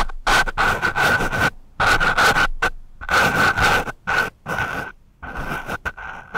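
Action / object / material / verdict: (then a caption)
scrape / foam microphone windscreen scratched with a pencil / foam / none. The sharpened graphite tip of a wooden pencil scratches the porous surface of a dark foam microphone windscreen. The sound is close, rough scraping in irregular bursts, each carrying a steady whistling squeal near 1.5 kHz, separated by short silent gaps.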